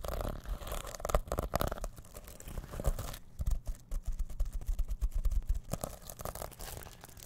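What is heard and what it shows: Fingertips scratch and brush the plastic sequins of a small reversible sequin pouch made of fabric, held close to the mic. A dense run of soft, crackly scrapes and rustles comes in uneven bursts, heavy in low, muffled thumps with little brightness, and stops with no ring.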